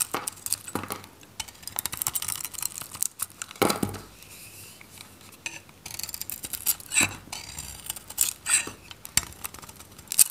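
A metal knife shaves the outer layer off a handheld, solid, varnished dry Godrej No.1 soap bar that is purple with a green interior. The cutting makes dense, bright, crisp scraping and crackling with many short dry clicks and little low end. Louder scrapes and flaking bursts stand out against a quiet background.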